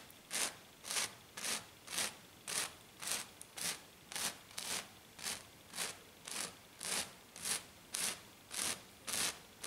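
Long black fingernails on both hands scratch a flat, silver glitter-coated sheet in fast, steady strokes. There are about 18 separate bright, hissy scrapes, each with a short swell and fade, repeating almost twice a second with brief quiet gaps between them.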